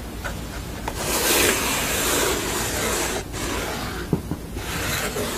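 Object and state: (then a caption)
Painted canvas panel. Long nails scratch and tap the textured painted surface of a sugar-skull painting on a stretched canvas with a painted red frame edge. A continuous bright, dry scratching rasp swells and fades, broken near the end by a couple of sharp, quick taps.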